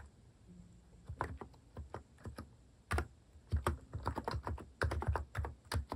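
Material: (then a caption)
Plastic. Fingertips type rapidly on a compact electrostatic-capacitive keyboard with cat-face plastic keycaps in cream, brown and pink, resting on a wooden desk. Irregular bursts of soft, deep, quickly damped key taps come in clusters with brief pauses.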